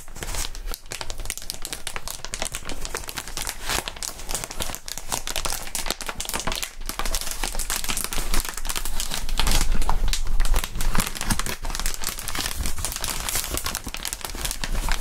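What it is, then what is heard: Plastic air-column packaging being crinkled. A clear, hollow plastic inflatable air-column cushioning sheet is squeezed and crinkled between gloved hands. The result is a continuous stream of dense, crisp crinkling and crackling that runs bright across the highs over a low rumble, growing slightly louder toward the middle of the clip.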